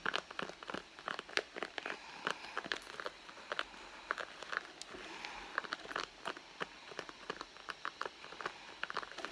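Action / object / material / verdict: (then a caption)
scrape / soft leather handbag / leather / none. Long blue nails scratch the surface of a red soft-leather handbag lying flat and hollow, working near its stitched seam. The result is a quiet, steady stream of short, dry scratching and crinkling ticks with a bright, papery texture and almost no low end, each tick dying away instantly.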